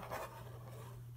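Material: Nothing is struck.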